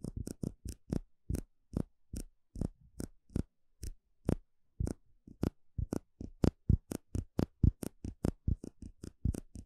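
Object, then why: Small clear plastic cup. A small, empty, hollow clear plastic cup held in the hand is tapped and poked with fingertips and a small plastic stick. About 35 short, dry taps and clicks land in an irregular rhythm, each a dull low thump with a faint bright tick that dies away almost instantly.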